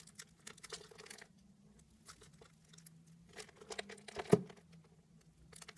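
A knife blade cuts and scrapes diamond-shaped pieces from a pale beige solid bar of soap scored in a diamond grid, and the pieces fall away. Quiet, dry crackling and crinkly scraping come in bursts over a faint steady low hum. One sharper, louder snap stands out near the end.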